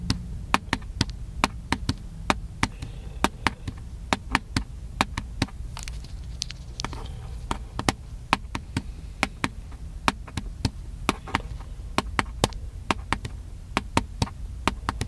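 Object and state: Plastic camcorder casing tapped.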